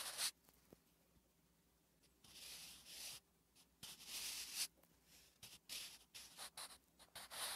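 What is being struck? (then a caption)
Graphite pencil on lined paper notebook page. A wooden graphite pencil writes Korean letters on a flat, solid lined paper notebook page, making scratching strokes. The bright, hissy scrapes come in bursts of varied length, with short quiet gaps between them.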